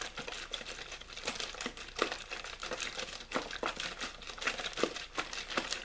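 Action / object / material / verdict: scrape / plastic water bottle / thin plastic / none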